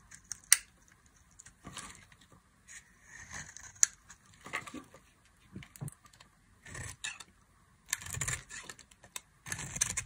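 A metal knife blade scrapes and carves curls and flakes from the edges of a dry, solid, palm-sized rectangular bar of green soap held in the hand. The result is a series of short, dry, bright scraping and crackling strokes with quick decay, separated by brief pauses.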